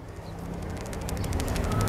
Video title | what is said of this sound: DUKUN AUTO NANGIS ‼️ PESULAP MERAH GELEDAH TOKO ALAT DUKUN TERBESAR - ILMU MERAH | kalau dikocok-kocok kayak ada isinya